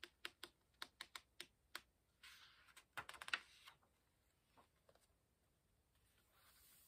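Fingertips handle the paper pages of an open hardcover book, turning them and rubbing the page surfaces and corners. Quick, crisp, bright ticks come first, then a louder rustling sweep as a page turns, followed by a few soft scratches and a faint hiss of paper rubbing at the end.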